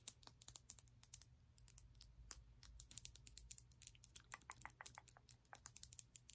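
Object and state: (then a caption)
Glass nail polish bottle. A small glass bottle of glitter nail polish with a black plastic cap is tapped and scratched by long nails. Quick, bright clicks and ticks come in irregular bursts over a low steady hum, with dozens of separate taps.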